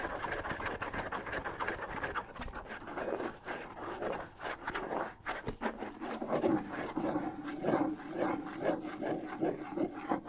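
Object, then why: Wooden bongo drum with skin head. Fingers rub and scratch the shell and skin head of a hollow wooden bongo drum held up in the hand. It makes a steady run of dry, papery scraping and soft tapping textures, mostly in the midrange, with a faint hollow tone around 320 Hz that grows more noticeable in the second half.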